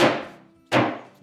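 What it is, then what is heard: Fully seated cabinet back panel. A dead blow hammer taps a wooden cabinet back panel, with its two small tabs, down into a dado slot, giving three dull thuds that fade quickly. The solid thud shows the panel is fully seated in the slot.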